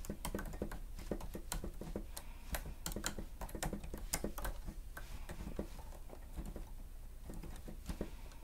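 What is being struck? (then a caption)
Plastic stenotype machine keys. A grey plastic stenotype machine with a screen has its keys pressed rapidly with the fingertips and nails of both hands while typing. Quick, dry clicks and taps come in uneven bursts, each with a sharp bright edge that dies away almost at once, over a steady low background rumble.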